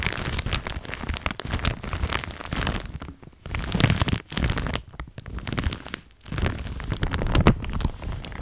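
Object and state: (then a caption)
Thin plastic shower cap, crinkled. A pink printed thin plastic shower cap, soft and crinkly, is held near the microphone and crinkled and rubbed with fingers and long nails. Dense, crackly crinkling runs in steady bursts, with brief quieter gaps between handfuls.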